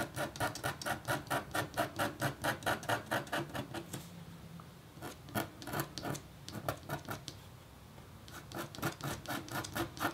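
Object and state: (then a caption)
Copper scratch art board being scratched. A metal-tipped stylus scratches a thin, solid, flat black-coated copper foil scratch board, making quick, rhythmic raspy strokes with a bright scratchy edge. A steady run of strokes gives way to a brief quiet stretch, then a few scattered scratches, another pause, and a final burst of fast, even strokes.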